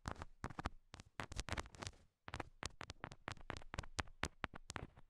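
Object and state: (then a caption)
Nail taps on rhinestone heart stickers on a silicone mic ear. Long nail tips tap on small solid pink rhinestone heart stickers stuck to the silicone ears of a binaural microphone, producing a quick series of sharp, dry clicks with a low thump beneath each. The taps are bright and die away almost instantly, with a brief silent pause in the middle before the tapping resumes.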